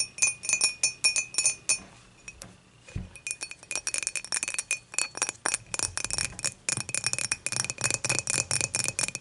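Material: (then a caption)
Glass. Long matte nails tap the sides and top of an empty dimpled glass beer mug, first standing upright and then lying on its side. The result is a quick run of light, bright glassy clinks with a ringing tone near 2.5 kHz, each dying away almost at once. A short lull comes around the three-second mark before the tapping resumes at a denser pace.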